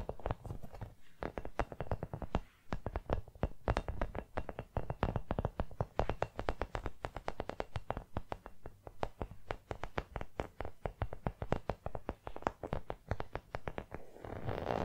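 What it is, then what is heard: Rubber toy football tapped with nails. Long nails tap rapidly on a small, hollow, brown rubber toy football, making a fast, uneven run of short, dull, low thuds with almost no ring. In the last moment the tapping gives way to a soft, brighter scratching rustle.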